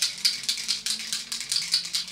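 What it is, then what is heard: Spray bottle with mixing balls rattling. A small travel-size plastic setting spray bottle is shaken well, as its label directs, so the mixing balls inside rattle. About eleven quick, bright clicking rattles come in a steady rhythm, sharp and high-pitched with almost no low end, and each dies away quickly.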